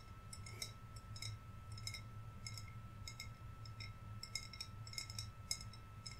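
Fingernails tap a hollow, green, wine-size glass bottle that holds string lights inside and has decorations on top. The result is a quick, irregular run of bright, high clinks and ticks with almost no ring, over a steady low hum and a faint constant tone.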